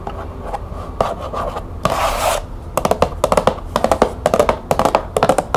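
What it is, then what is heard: Cardboard tea box. Long nails scratch and tap the printed surface of a small, closed green cardboard tea box held in hands. Soft, papery scratching opens the clip and swells into a louder, brushing scrape. It then gives way to quick bursts of hollow, clicky taps that stop sharply.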